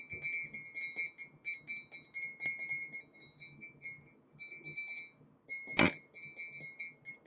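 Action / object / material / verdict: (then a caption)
tap / glazed ceramic mug / ceramic / none. A large white glazed ceramic mug with gold dots, lettering and an iridescent handle, apparently empty, is held in both hands in front of a microphone and tapped with fingertips and nails. A quick, irregular stream of bright, glassy clinks rings with a steady tone near 2.3 kHz and high overtones, each tap decaying almost at once. One sharper, louder tap stands out near the end.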